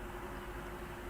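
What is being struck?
Nothing is struck.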